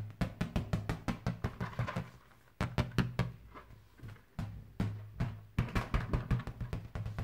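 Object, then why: Inflated latex punch balloon. A bare hand strikes and bats the surface of a large, fully inflated red latex punch balloon, hollow and air-filled with an elastic band at the knot. It gives a rapid, uneven run of deep, drum-like thumps with a low boom around 130 Hz and short, dull decays. A brief quieter pause falls in the middle.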